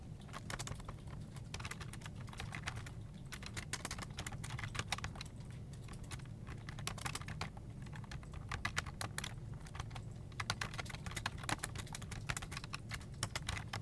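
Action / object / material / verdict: tap / plastic desktop keyboard / plastic / none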